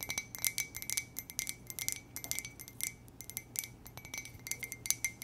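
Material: Ceramic.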